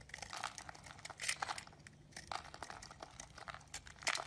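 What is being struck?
Bar of soap.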